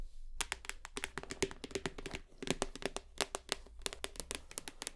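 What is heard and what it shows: Long nails tap rapidly on a full white plastic shower gel bottle, first held upright and then turned sideways. The result is a quick, uneven stream of short, bright, dry clicks with a faint hollow plastic tone. A low hum sits steadily underneath.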